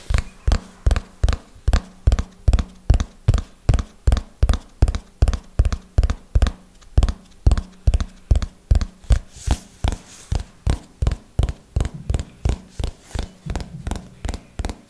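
A small, solid, closed red hardcover notebook is held near the mic and tapped on its cover with long fingernails. Around forty short, dull, low-pitched taps come in a slow, steady rhythm, each dying away almost instantly.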